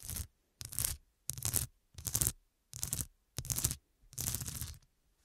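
Long dark nails scratch across the square faceted glass studs covering a fabric cushion, seen from the side. Seven separate bursts of bright, gritty scraping are heard, each about half a second long with short silent gaps between.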